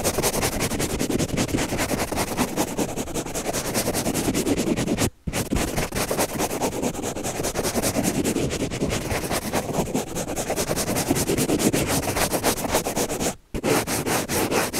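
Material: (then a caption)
Synthetic fibre. Fingernails rapidly scratch the green scouring pad of a kitchen sponge, making a dense, rough, broadband rasping that runs almost continuously. The scratching breaks off briefly twice, around 5 seconds and again near 13.5 seconds, before resuming at the same fast pace.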